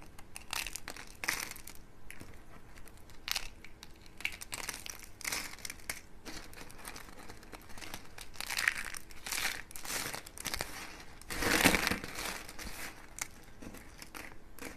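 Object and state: Dry soap slices crushed by hand.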